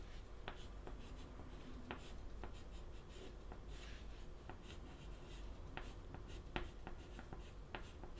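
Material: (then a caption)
Chalk. A stick of white chalk held in the fingertips writes on the lower part of a wooden-framed black chalkboard with a flat solid panel. A steady scratching stroke runs throughout, broken by short, sharp taps and clicks as the chalk meets the board. The sound is quiet overall, with a low, steady background hum beneath.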